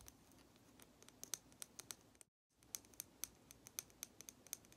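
A small, hollow, red lacquered wooden matryoshka doll painted with a blue flower is held in one hand and rapidly tapped with long nail tips. About twenty sharp, bright clicks stop dead without ringing, over a soft hiss, with a brief full silence midway.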